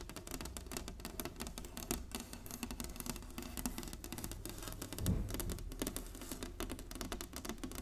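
Long nails and fingertips tap and lightly scratch an inlaid wooden chessboard resting on a table. The result is a fast, continuous patter of short, dry clicks with quick decay, over a steady low hum.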